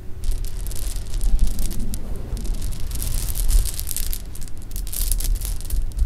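A pile of loose hard-shelled jelly beans on fabric is scooped, stirred and rubbed together by hands. The result is a steady, dense rattle of small bright clicks and clatter over a soft low rumble, swelling and easing as the beans are moved for about six seconds.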